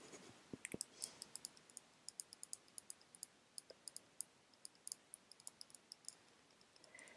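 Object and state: Glass nail polish bottle tapped with nails.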